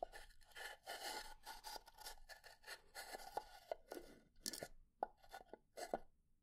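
A pine wood box is tapped and slowly scratched, and its wooden lid is knocked wood-on-wood. Soft, dry scratching and rubbing fills the clip. It is broken by short, sharp wooden taps and knocks with a hollow, mid-pitched tone that die away almost instantly.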